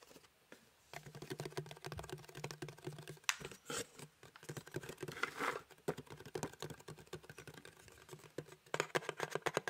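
Fingertips and nails quickly tap the printed surface of a small, hollow cardboard box shaped like a gingerbread house, held in one hand. Rapid, dry, clicky taps with almost no ring come in dense bursts, with a few louder, sharper clusters.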